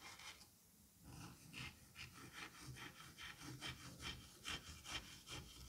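A metal scalpel-like tool with a white handle rakes and cuts through a flattened, sliced mound of green kinetic sand on a white surface, crumbling it. Soft, bright gritty scraping strokes repeat at a steady rhythm after a brief quiet pause near the start.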